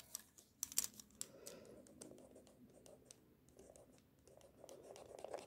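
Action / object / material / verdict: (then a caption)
scrape / pencil lead on a paper drawing sheet / paper / none. A pink mechanical pencil tip sketches on a sheet of white drawing paper in small scratching strokes. Quiet, bright, dry scratches and short ticks come in quick bursts, with a soft papery rasp between them. The strokes are close up and stop almost instantly, with no ring.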